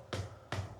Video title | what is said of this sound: 조명 계획 어떻게 들어가나? (매 현장 마다 새로운 셋팅) | 두드려 보면은 예 터터 소리가 나면서 옹벽이